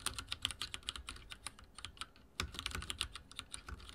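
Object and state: Mechanical keyboard with plastic keycaps.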